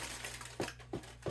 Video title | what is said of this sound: HOLIDAY GIFTING - Rustic No Knead Bread - DUTCH OVEN | if it sounds Hollow which it does then it's cooked